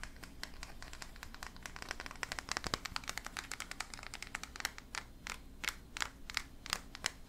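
A small solid painted resin figurine of a skull-faced creature with antlers holding a tiny bunny is held in both hands and scratched and tapped with fingertips and nails. The result is a dense run of quick, dry, bright clicks and scratchy crackles with almost no ring over a steady low background hum.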